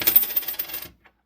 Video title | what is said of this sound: What’s Hiding In This Coin Collection? - Searching Through A Coin Collection - | do a drop test so you can kind of hear that silver ping